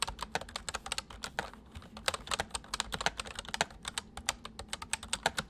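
Fingertips of both hands type on a white full-size plastic MSI mechanical keyboard with hollow keys. A steady stream of quick, bright, clicky keystrokes with short sharp attacks plays over a faint low hum.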